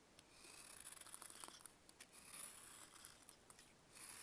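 A box-cutter blade carves thick shavings from a large, solid, pale grey-green dried baking soda block held in a bare hand. The result is a quiet, dry, crunchy scraping with bright, hissy texture and short crackling bursts. The scraping swells and fades over the clip, with little low end.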